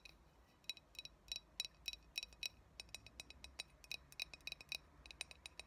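Long nails tap the glass body of a clear, hollow, empty glass coffee bottle with a metal screw cap, held tilted in the hands. About thirty quick, bright clinks fall in an uneven rhythm, each dying away almost at once. The tapping stays soft and high, with almost nothing low.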